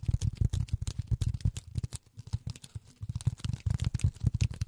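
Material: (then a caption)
Polyethylene foam. Polyethylene foam is tapped with silicone rubber finger pads in quick, uneven bursts. Each tap is a soft, dull, low thud with almost no ring. The tapping thins out briefly in the middle before picking back up.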